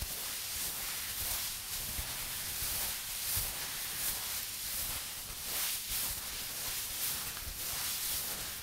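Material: Nothing is struck.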